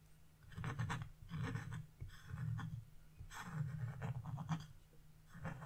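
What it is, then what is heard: Scratch-art paper being scraped. A metal chisel held in a hand with blue nails scrapes leaf shapes into a flat, black-coated scratch-art page, leaving scraped-off flakes behind. Quiet, raspy scratching strokes come in repeated bursts, mostly low and dull with a faint brighter hiss, over a steady low hum.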